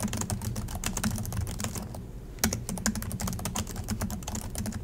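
Two hands type steadily with their fingertips on the black plastic chiclet keys of a silver Acer laptop resting on a desk. A fast run of short, bright clicks and taps sits over a low thump from the keys bottoming out. There is a brief pause near the middle before the typing resumes with a sharper stroke.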